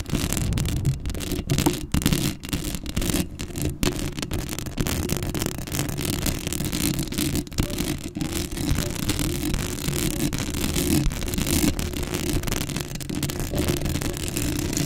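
Long acrylic nails scratch steadily across a black metal mesh microphone grille, close up. The result is a dense, continuous rasping scratch with a heavy low rumble under a bright, hissy texture, broken by brief momentary gaps.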